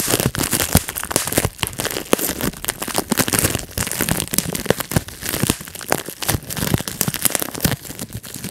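Fingertips pinch and pop the air bubbles of a large clear plastic bubble wrap sheet held on the lap, one after another. Many sharp, dry pops crack out in quick, irregular succession over a constant crinkling of the plastic, each pop bright and dying away almost instantly.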